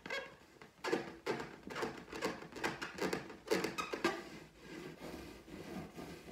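Long teal almond-shaped nails scratch and tap the surface of an inflated, air-filled clear latex balloon printed with gold pineapples, held against a wall and pressed in. Irregular rubbery squeaks and dull taps come in quick bursts, each with a midrange squeal that fades fast.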